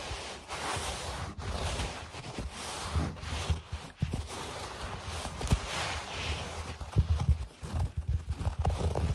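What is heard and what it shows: Fingertips and short nails tap and scratch on a speckled, low-pile beige and grey carpet, close up. A soft, steady brushing rustle runs throughout, broken by dull, low thuds with almost no ring. The taps grow sharper and more frequent toward the end.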